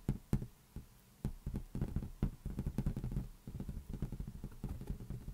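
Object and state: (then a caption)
Tapped latex balloon. An inflated, hollow lime-green latex balloon rests on a palm while the fingers of the other hand tap quickly on its underside. The taps come as a rapid, uneven series of soft, dull, low thumps with almost no ring, mostly deep in tone, with a brief quiet gap near the start.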